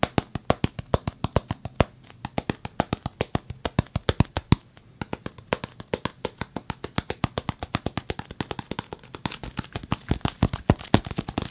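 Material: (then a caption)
Wood. Solid wooden karate sticks, denser than padded practice sticks, are tapped in a steady, rapid series. Each tap is a short, dry knock that dies away almost instantly, with a low-mid woody tone and little brightness.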